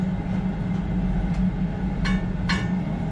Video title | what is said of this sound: Glass Blowing at Chihuly Museum | give it a little tap on some steel as well. And you can hear how much stiffer that is